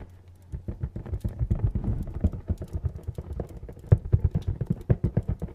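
Fingernails tap rapidly and unevenly on a hollow, medium-sized printed cardboard retail box, producing dozens of dull, low, hollow knocks with almost no ring. The tapping starts faint, grows busier, and ends with a run of sharper, louder taps.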